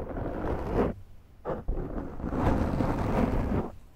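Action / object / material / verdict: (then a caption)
scrape / foam microphone windscreen / foam / none. Long nails scratch the top and side of a large round black foam windscreen on a Zoom microphone. The result is a deep, muffled, rumbling rasp that is heavy in the low end, heard as a long stroke, a brief burst, and then another long stroke before fading.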